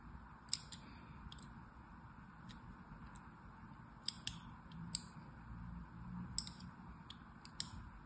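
A thin metal needle scratches and carves diagonal grooves across a solid blue, palm-sized rectangular bar of soap held in one hand, chipping off small flakes. Short, bright, crisp scratching clicks come in scattered bursts over a low, steady background rumble.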